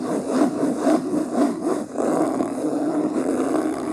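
Long nails scratch and fingertips rub quickly over the beige, linen-textured cloth cover of a medium, solid hardcover book lying closed on a table. The result is a steady, dense scratching and rustling texture concentrated in the low-mid range, with rhythmic swells from the strokes and a brief dip just before the two-second mark.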